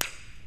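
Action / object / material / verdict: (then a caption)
tap / bonded laminated doubler on a helicopter rotor blade / bonded laminate / sound. A single sharp tap with a coin or pen on the laminated, glued-down doubler of a Bell 47 helicopter main rotor blade, checking for delamination. The tap is short and bright with a quick decay and no hollow ring, so the glue is not lifting.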